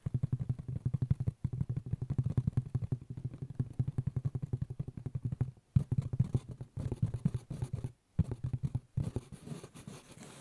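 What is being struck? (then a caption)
Woven straw hat. A hollow, light-colored woven straw fedora with a black band is held against the side of the head and scratched with fingers and nails. The result is a rapid, dense run of dry, low-heavy rasping strokes, broken by a few brief pauses. The strokes fade softer near the end.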